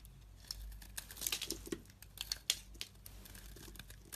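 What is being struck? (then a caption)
Bar of soap carved with a metal blade. A metal utility-knife blade shaves flakes off the faceted surface of a solid pink bar of soap held in the hand. Bright, dry scraping and crinkling strokes come in quick, sharp bursts with almost no ring, over a faint low hum.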